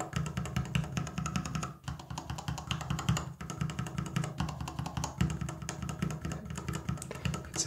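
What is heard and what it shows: Fingertips of one hand rapidly press the plastic keycaps on a small acrylic tester of plastic mechanical keyboard switches. A dense, steady stream of short, dry clacks has a low, hollow body and bright click edges, each hit dying almost instantly. The flow breaks only for brief pauses around 1.8 and 3.4 seconds.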